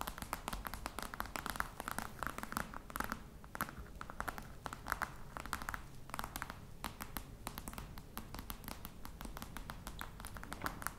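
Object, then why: Faux crocodile leather box. Long red nails tap quickly on the top of a flat, hollow black box covered in embossed faux-crocodile leather. The clicks are sharp and dry with a short hollow knock underneath, and they come in a dense, uneven patter that never quite stops.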